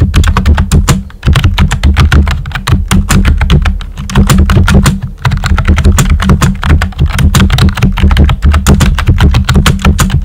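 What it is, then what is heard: Plastic computer keyboard. Fingertips with short nails type steadily on a full-size pink plastic keyboard with a hollow body and round white typewriter-style plastic keycaps. The result is a rapid stream of short, dry clacks with a heavy, hollow low thump under each keystroke, broken by a few brief dips in the rhythm.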